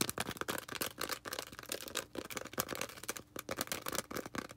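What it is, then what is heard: Foam sponge. A small green foam sponge is rubbed and scratched quickly with long red nails. The result is a rapid run of dry, crackly scratches and soft taps, bright and airy with very little low end, each burst dying away almost at once.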